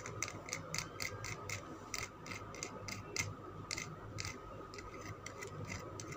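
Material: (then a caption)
Soap. Fingernails tap and scratch a solid green Lux soap bar whose surface is flecked from scratching. About 21 short, dry, bright clicks land in a quick, uneven rhythm with an edge near 2 kHz, over a steady low background hiss and a faint thin tone.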